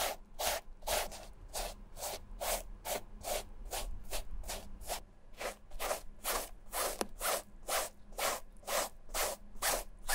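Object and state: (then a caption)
Canvas sneaker rubbed with a foam sponge. A dark foam sponge applicator is rubbed and dabbed over the striped canvas upper of a Vans slip-on shoe, making quick, regular scratchy strokes with bright, hissing edges. The strokes repeat at roughly two per second.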